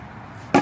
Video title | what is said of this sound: A day with Damien "The Sexy Homeless" By Mike Trenche | if you hear it it's Hollow on the corners